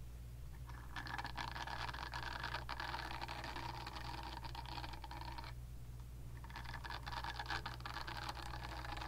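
Long nails scratch and tap the smooth back of a pink, palm-sized silicone facial cleansing brush pad held beside the microphone. The result is a dense, bright, crackly scratching in two stretches separated by a brief pause near the middle, over a steady low hum.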